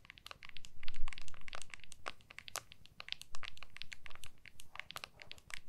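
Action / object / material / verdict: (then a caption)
tap / smartphone in a clear plastic case / plastic / none. Long nails scratch and tap the back of a small, solid iPhone in a clear plastic case held in both hands. Quick, irregular bright clicks and scratchy crackles come in fast bursts over a faint low rumble.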